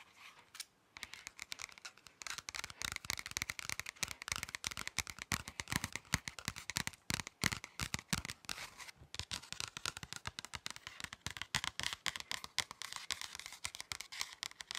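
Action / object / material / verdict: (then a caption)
tap / paper or card pocket folder / paper card / none. Fingertips and nails tap and scratch rapidly across the surface of a thin, flat red paper or card pocket folder. The result is a dense run of dry, crisp clicks and scrapes, bright and papery with little low end and no ring after each touch.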